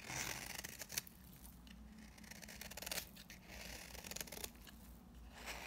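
A utility knife blade scrapes dry shavings off the surface of a solid, very dry pink bar soap held in hand. Bright, crisp scratching and shaving strokes come in quick bursts, with a few sharper scrapes standing out over a low, steady background.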